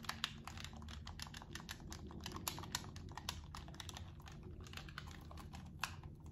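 A blue PlayStation-style handheld game controller with a hollow hard plastic shell is held in both hands while its buttons are pressed and clicked with thumbs and fingertips. A rapid, uneven run of short, sharp, bright plastic clicks sounds over a steady low hum.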